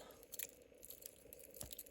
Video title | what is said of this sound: Sekonda Classic Circuit 30200 - Collector’s Dress Chronograph (Unboxing & Review) | It does sounds tinny, and that's basically because of the strap.